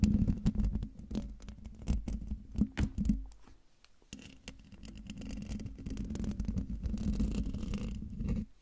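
Fingertips and nails scratch the hollow metal mesh grille of a silver Blue Yeti microphone from above and the sides, producing close, bassy, rustling scrapes with a steady low tone underneath. Quick scratching bursts fill the first three seconds, then a brief near-silent pause gives way to denser, continuous scratching that holds until it stops abruptly at the end.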